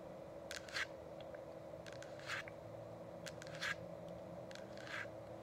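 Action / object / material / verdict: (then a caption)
tap / plastic diffuser dome / plastic / none. Long acrylic nails on both hands tap and click on the sides of a hollow, frosted plastic dome essential oil diffuser with a changing light. Short, bright clicks and light scrapes come in loose, irregular clusters. A steady low hum runs underneath throughout.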